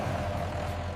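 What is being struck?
Nothing is struck.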